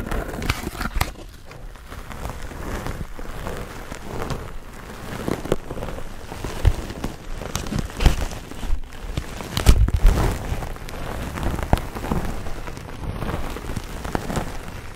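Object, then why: Foam sponge with foam handle. A hand-sized grey textured foam sponge on a tan foam base, solid and porous and held in both hands, is lightly scratched with fingernails. The result is a steady, dense crackling rustle that is mostly low and muffled, with a few louder soft thumps near the middle.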